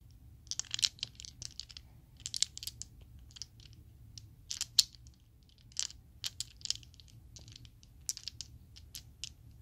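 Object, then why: Set of small plastic polyhedral dice. A set of small, solid purple Chessex plastic polyhedral dice is cupped and shaken in the hand. It produces bursts of sharp, bright clacks that die away almost instantly, separated by short pauses over a faint low background hum.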